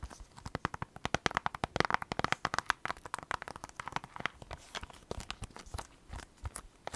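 Long black acrylic nails tap and scratch quickly over a plastic Nintendo Switch game case (Animal Crossing) held in both hands. The result is a dense run of sharp, dry clicks with no ring, mixed with brief crinkly scraping.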